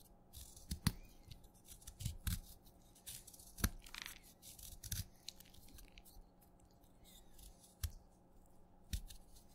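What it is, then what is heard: Wet chalk stick being cut. A craft knife cuts and scrapes flakes from the end of a short, wet purple chalk stick held in the fingertips. Sharp, crisp cutting snaps stand out over softer gritty scraping strokes with a bright edge, and a low, steady hum runs underneath.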